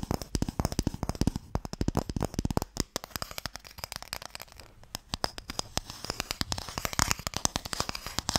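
Fingertips and nails tap rapidly on a small, closed, pale wooden Mikado box, a hollow box that holds sticks. The result is a dense stream of short, dry clicks with a hollow low knock beneath, some taps sharper and brighter where the nails strike. The taps stop almost instantly, with brief, quieter gaps between bursts.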